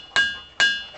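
An igneous rock boulder at a ringing-rocks site is struck twice with a hammer. Each strike produces a clear, bell-like musical tone around 1.6 kHz with bright overtones. The tone rings for a short moment and fades before the next hit.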